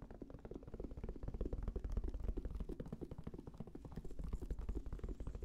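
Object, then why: Fabric-covered semi-rigid headphone case. A hollow, black, round, fabric-covered semi-rigid Sony headphone case with a strap is held near the microphone and tapped with the fingertips. The result is a rapid, steady stream of soft, dull, low thuds with no ring, rising and falling in loudness throughout.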